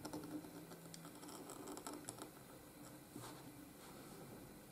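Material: Paper.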